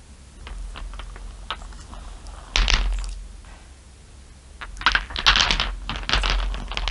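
Long nails tap rapidly on a pile of small, solid glass marbles, making quick, bright clicks. Dense bursts of clustered clicks sit over a low, steady hum.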